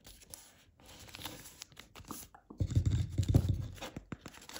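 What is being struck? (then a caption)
Folded paper sheet on a wooden table. A multi-layer folded origami paper crane base rests on a wooden table while fingertips press and crease its flaps. Soft crinkling and rustling are broken by low, dull thumps, growing louder and denser in the second half as the folds are pressed flat.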